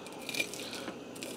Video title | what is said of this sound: Breakfast in the Ninja Speedi can it be done | Hear how crispy that hash brown is?